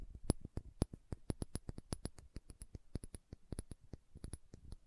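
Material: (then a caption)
Glass. Long nails tap and scratch a small dark green glass serum bottle with a dropper cap, giving a quick, uneven run of about 27 soft, dry clicks with faint scratching between them. Each tap is short with no ring, a low thump topped by a bright glassy tick, and the whole clip stays quiet.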